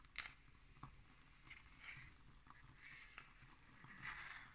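Long nails scratch the red cloth spine and cover of a black cardboard hardcover notebook and tap on its label. Soft, bright scratching swells and fades between a few sharp, quick taps, all at a quiet level.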